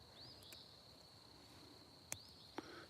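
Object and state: Dead, dry blackberry cane.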